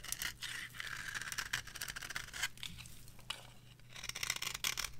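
A metal blade scrapes across the surface of a dry yellow bar of soap resting on a palm. The result is a run of short, bright, dry scraping and shaving strokes with a steady low hum beneath them.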